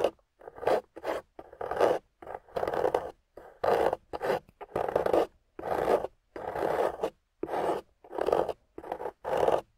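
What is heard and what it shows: A solid, water-soaked clay block with a golden coating, held in a hand with long nails, is scraped and carved with a thin metal tool, its surface crumbling away. Short, gritty scraping strokes come in separate bursts with brief silences between them. The sound centres in the midrange around 500 Hz and has little low end.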